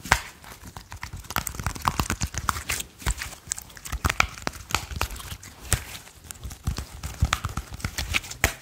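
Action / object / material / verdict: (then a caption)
tap / handful of soft slime / slime / none. A small handful of soft, solid purple slime is held in the hands while fingertips rapidly tap and squish the blob. The result is a dense run of short, wet clicks and sticky pops with soft low thuds underneath and a bright, crackly edge, each sound dying away almost instantly.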